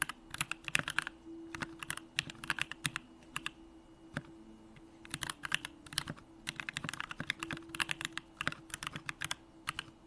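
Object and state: Mechanical keyboard being typed on.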